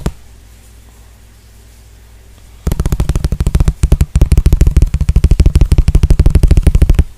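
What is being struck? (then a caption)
Small clear plastic container. Fingertips and nails tap and scratch a small, clear, hollow plastic container that appears to be empty. One light tap is followed by a quiet pause, then a fast, uneven run of dull, low, close-up taps starts and continues to the end, broken only by a brief gap.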